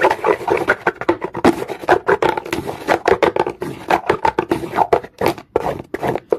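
The teeth of a comb are raked fast across a solid, dark, rough-textured rock, fist-sized or larger, resting on a carpet. The result is a rapid, uneven run of dry, raspy scratching bursts concentrated in the midrange, with a few brief pauses. Each stroke stops dead with no ring.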